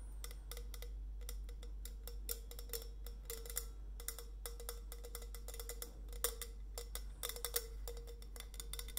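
Long nails tap rapidly on the painted metal body of a tall, hollow stainless steel insulated bottle with a white coffee-bean print and a steel cap, held in the hand. Each tap is a short, bright click with a brief hollow ring near 480 Hz. A steady low hum runs underneath throughout.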